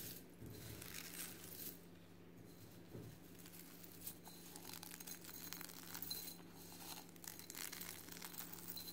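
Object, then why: Eggshell fragments in a glass bowl. Gloved fingers in white rubber or latex rub, crush and crumble handfuls of a larger pile of small brown and white eggshell fragments in a clear glass bowl, with some shells touching the bowl. The result is a steady, quiet stream of dry, brittle crackling and crinkling with bright, high clicks and faint glassy clinks over a low, constant hum.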